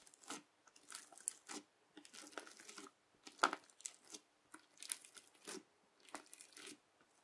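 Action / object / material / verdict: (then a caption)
scrape / bubbly slime and plastic knife / slime / none. A flat, bubbly clear teal slime is pressed and scraped with the edge of a yellow plastic knife, then lifted and folded. Bursts of quiet, crisp crackling and crunching pops with a bright, airy texture come in uneven clusters separated by short silences.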